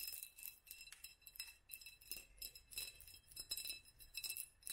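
A small hollow glass jar or candle holder with a black band of raised studs is held in both hands and tapped with long nails. The result is a quick, irregular stream of bright, glassy clinks, each with a short, high ring that fades fast.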